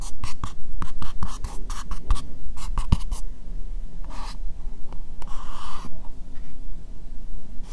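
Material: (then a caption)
Plastic. Fingertips and nails lightly scratch an empty, hollow, translucent pink plastic bowl. For the first three seconds, quick rhythmic strokes make short bright scratchy bursts. After that come slower, sparser scrapes, with a longer brushing stroke near the end.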